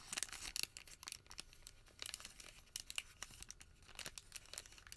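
A small folded white thermal paper receipt is folded and pinched between the fingertips. It makes a quiet, bright crinkle of sharp, crisp crackles and tearing-like rustles that come in clustered bursts with almost no low end.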